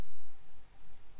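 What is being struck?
Nothing is struck.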